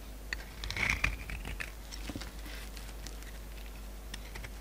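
A solid white oval bar of soap with remnants of a magenta coating is held in the hand and scraped and cut with a metal utility-knife blade, shaving off powdery flakes and chunks. The audio is a quick run of soft, dry scratching and crisp ticks with bright high edges, the loudest cluster coming about a second in. A steady low hum sits underneath throughout.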